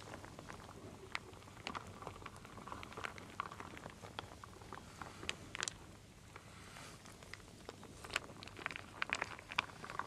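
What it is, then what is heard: Wooden beads and acorn pieces stirred in a wooden bowl. A wooden spoon stirs small solid wooden pieces, wooden beads and acorn pieces, in a full wooden bowl. The result is a quiet, steady stream of short, bright clicks and rattling taps that come in scattered bursts over a faint low hum.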